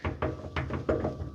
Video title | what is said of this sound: My Defender Is Back! | it doesn't move this way, but it does clunk going this way